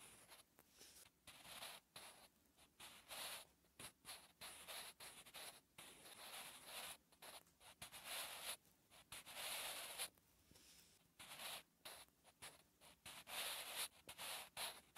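A wooden pencil held by the fingertips writes handwriting on a lined notebook page, scratching the paper. Short bursts of dry, bright scratching come in quick strokes with brief pauses between words, and there is almost no low end.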